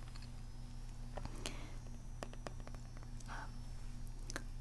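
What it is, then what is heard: Plastic toy hoverboard, hollow. Long nails scratch and tap across the hollow plastic surface and ridges of a toy hoverboard with a gold circular pad and gold stripes. Soft, irregular clicks and brief bright scrapes sit over a steady low hum, and each sound dies away quickly.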